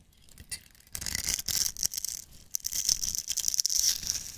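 A metal knife blade scrapes and shaves crumbly flakes off the top edge of a solid, hand-sized bar of green and white striped soap held in the fingers. The sound is bright, dry, crackly scraping in quick bursts, almost all high-pitched hiss with very little low end, and each stroke stops short with no ring.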